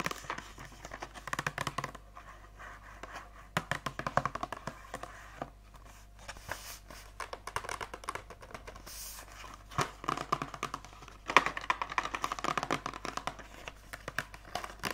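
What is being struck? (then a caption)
Clear hard plastic blister pack over card backing. An Oral-B toothbrush head blister pack, about hand length, with a clear hard plastic shell over a card backing and the brush heads inside, is held in the hands and tapped with long acrylic nails. The taps come as rapid, crisp, keyboard-like clicks with faint crinkling of the plastic, clustered in bursts with short pauses between.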